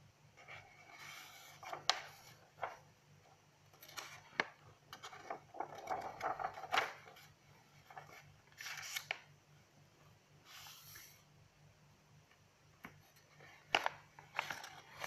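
Long nails tap and scratch the pages of an open lined paper notebook while turning them. Quiet, dry, papery rustles and swishes come in bursts, broken by short, sharp clicks with almost no ring. The sound is bright and crisp, with a soft near-silence between page turns.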